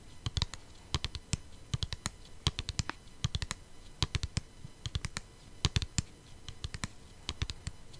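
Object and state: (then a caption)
Plastic CD case. Long painted nails tap and scratch a flat, hollow plastic CD jewel case. Quick, irregular clicky taps each give a bright, sharp crack over a short, hollow low thump, with faint scratching between them. Each tap dies away almost instantly.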